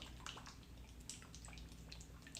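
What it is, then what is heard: Jar of underglaze still liquid, not dried out. A jar of underglaze, received for free, is shaken to check whether it has dried out, as its giver warned it might have. Quiet, repeated liquid sloshes and splashes come through over a low hum. The sound shows the underglaze is still liquid and at the right consistency.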